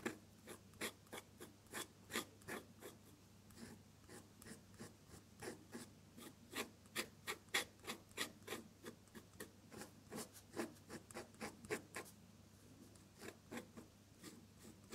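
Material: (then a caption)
Paper. A metal dip-pen nib with red ink scratches across a sheet of drawing paper while drawing a second flower. About eighteen short, dry, bright scratching strokes are spaced apart over a faint steady low hum. Each stroke is quiet and ends almost at once.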